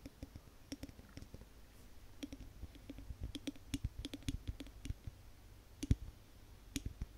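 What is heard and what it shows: Long nails tap across the glass sides and label of a large wax-filled Yankee Candle glass jar, giving about 25 quick, irregular, quiet clicks. Each tap is a short dry tick with a soft low thump and a faint glassy ping that dies away almost at once.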